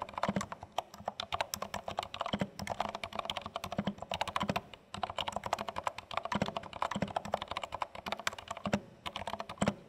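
Continuous fingertip typing on a compact dark plastic HHKB Studio mechanical keyboard with plastic keycaps, both hands tapping keys. Rapid, dry, short clicks and thocks with a low body around 200 Hz run together in steady bursts, pausing briefly near the middle.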